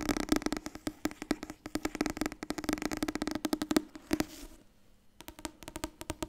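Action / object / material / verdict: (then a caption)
tap / softcover paper book / paper / none. A medium orange softcover book, "Het nieuwe Wasbord dieet," a solid paper block with a card cover, is tapped fast with long painted nails and fingertips. Dozens of short, dry clicks and taps run in quick bursts, with a woody hollow tone around 300 Hz and bright nail ticks. The taps pause briefly near the end before resuming.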